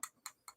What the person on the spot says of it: I think that's actually a brass rod it sounds like metal